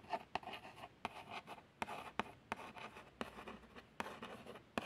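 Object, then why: Small printed cardboard box. A long fingernail traces the printed text and plaster image on a small, hollow, printed cardboard box of plasters. The result is a soft, continuous dry scratching with a mid-range tone, broken by sharp, quick clicks as the nail catches the card.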